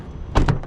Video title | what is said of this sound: "1400만원 감가!" 패밀리카로 안성맞춤 팰리세이드 - 중고차 구매대행 | 둔탁한 소리가 나야 되는데 어떤 통통 소리가 나지 않은지를 좀 살펴보는 거고요